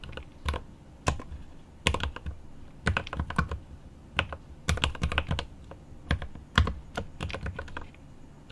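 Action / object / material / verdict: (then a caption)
tap / mechanical keyboard with plastic keycaps and aluminum case / plastic / none. Right-hand fingertips type on the plastic keycaps of a mechanical keyboard with an aluminum case, seen from the side. The result is quick, uneven bursts of short clacks with a deep, bass-heavy thock and bright, crisp attacks that die away almost instantly.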